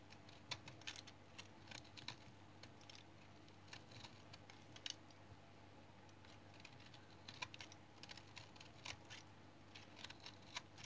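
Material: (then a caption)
Soap. A small knife shaves and cuts flakes off a solid tan remnant of brown household soap held in the hand. Short, bright scraping cuts and clicks come in irregular bursts over a low, steady hum.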